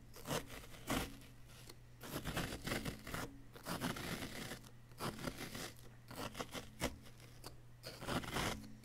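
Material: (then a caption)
Plaster. A wooden chisel tool scratches and scrapes a solid yellow-green plaster dig-kit block in short, gritty, bright bursts, each fading quickly. A steady low hum runs underneath the whole time.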